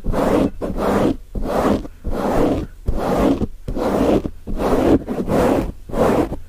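Fingertips of both hands scratch and rub a grey foam windscreen on a microphone in fast, aggressive strokes. Nine loud, muffled bursts of rough scraping follow one another unevenly, with a strong low-mid rumble and little high content, each cut off by a brief near-silent gap.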